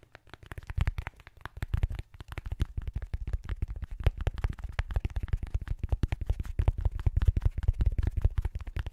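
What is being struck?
Soft foam sponge on a metal mic grille.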